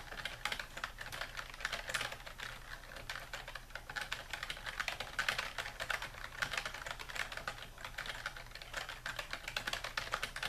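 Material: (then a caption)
Plastic. A full-size dark plastic computer keyboard lies flat on a wooden desk while fingertips press its keys in a steady typing action. Quick, bright clicks and clacks follow one another closely with very short decay over a faint low hum.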